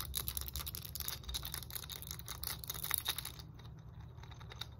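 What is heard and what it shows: Long nails rapidly tap and scratch along the red, ridged hard plastic roller segments of a long muscle roller stick with black foam handles. The result is a dense stream of dry, bright clicks and scraping over a low steady hum. The clicks thin out and grow quieter in the last second and a half.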